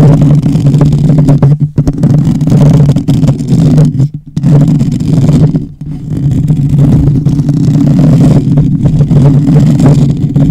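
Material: Metal mesh.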